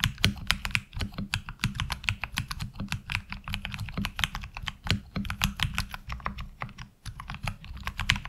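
Continuous two-handed fingertip typing on a HyperX Alloy Origins Core tenkeyless mechanical keyboard with black ABS keycaps and lubed tactile switches, resting on a desk mat. Rapid, short, bright clacks follow one another with almost no ring, over a steady low rumble. The typing briefly drops off around the seven-second mark before resuming.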